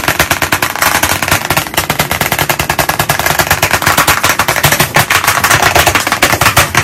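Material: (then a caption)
Chalk. Chalk sticks held in both hands tap rapidly against the surface of a large black chalkboard in a wooden frame. The result is a fast, unbroken stream of sharp, dry clicks with a bright, crisp edge and a light low knock beneath, each tap dying away almost instantly.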